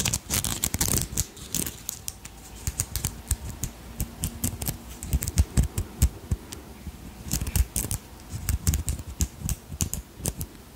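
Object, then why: Beaded brooch with glass crystals. Long nails scratch and tap across the beads and crystal stones of a purple beaded dragonfly brooch held close to the microphone. Quick, dry clicks and ticks come in irregular bursts over a soft, scratchy rustle, each hit bright at the top with a low thump underneath and almost no ring.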